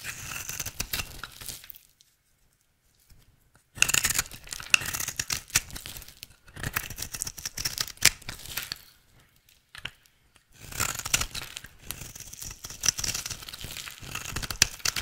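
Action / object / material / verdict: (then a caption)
scrape / soap bar cut with a blade / soap / none. A rectangular, solid, dry green soap bar held in the hand is shaved and carved with a utility knife blade, sending off flakes. Dense, bright scraping and crackly cutting sounds come in three bursts, separated by short silences near 2–3.7 s and 9–10.5 s.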